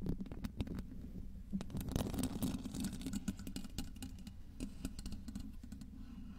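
Very long green acrylic nails tap and scratch the skin of a small, solid, smooth-skinned whole red tomato resting on top of a microphone. The result is a steady stream of quick, dull taps and soft scratchy rubbing, heavy in low, muffled thuds with sharp little clicks on top. It stays close and dry throughout, with no ring after each touch.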